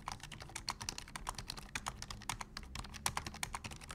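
Two hands type with their fingertips on a black plastic full-size computer keyboard. The result is a fast, steady run of short, crisp clicks. Each click has a bright upper edge and almost no ring, and a faint low hum sits underneath.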